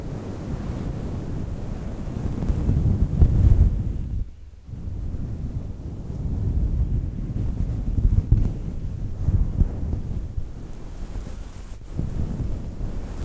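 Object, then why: Synthetic fur microphone windscreen. Long nails scratch the surface of a fluffy grey faux fur microphone windscreen held in both hands. The result is a deep, muffled, rumbling rustle like wind buffeting a microphone, with nearly all of its energy in the low end and almost no high sound. It swells louder in places and briefly drops away near the middle before the scratching resumes.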